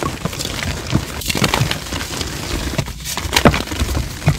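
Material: Chalk.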